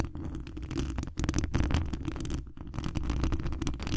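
Fingertips and long acrylic nails scratch the hollow mesh wire dome grille of a large condenser microphone. The result is a dense, continuous scratching with a deep, boomy low rumble and crackly bright edges. It eases briefly just after 1 second and again around 2.5 seconds before resuming.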